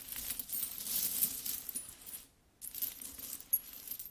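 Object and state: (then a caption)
Pile of metal coins. Hands with long nails scratch and rummage through a large, spread-out pile of solid metal coins. The result is a steady stream of bright, high clinking and scraping that stops briefly about halfway through, then starts again with a few sharper clinks.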